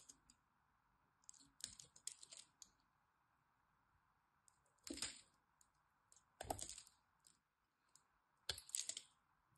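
A blade scores the surface of a solid green bar soap held in the hands into small cubes and scrapes them off. Short bursts of crisp, bright clicking and crackling come in uneven clusters over a faint, steady background hum.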